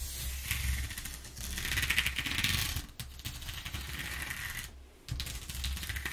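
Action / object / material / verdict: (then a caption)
scrape / corrugated cardboard sheet / cardboard / none. Long nails tap and scratch over the exposed ridges of a flat brown corrugated cardboard sheet, making a dense, rapid crackle of dry taps and bright scratchy rasps. The texture runs nearly continuously over a steady low hum, easing briefly around the third second and dropping out just before the fifth before resuming.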